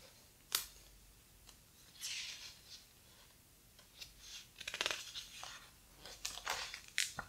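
Fingers rub the heavy paper pages of a large, thick hardcover book and flip one over. Quiet, bright rustles and soft swishes are broken by a few sharp, crisp paper snaps, with almost no low end. The sounds stop short with no ring.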